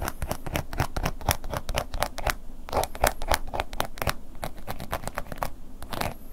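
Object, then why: Embossed leather wallet scratched and tapped with a wooden pick. A wooden ear pick scratches and taps across a black woven-embossed leather long wallet lying flat. Rapid, slightly uneven dry scratching and light tapping, about four strokes a second, with short crisp clicks that stop dead with no ring. It has a mid-pitched core over a soft low thump.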